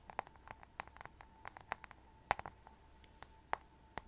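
Long nails tap and scratch the glittery rhinestone-covered back of a hollow plastic paddle hairbrush held close to the mic. About 17 short, sharp, irregular clicks and scrapes ring out with a bright rattling edge, over a faint steady tone near 816 Hz and quiet background hiss.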